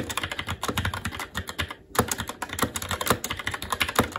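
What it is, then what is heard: Mechanical keyboard with plastic keycaps on metal plate. Fingertips of both hands type continuously on a SteelSeries Apex 7 TKL mechanical keyboard with red linear switches, black plastic keycaps and an aluminum plate. Rapid, crisp clacking key taps with short, dry decays follow one another, with a brief pause just before the two-second mark before the typing resumes.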